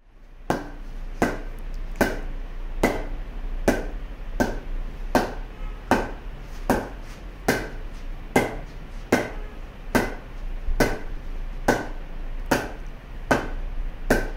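A heavy 2 kg wooden cricket bat gets a ping test: its blade is tapped 18 times at a steady pace of just over one per second. Each tap gives a short, sharp knock with a brief ring centred around 480 Hz, and a low hum runs underneath throughout.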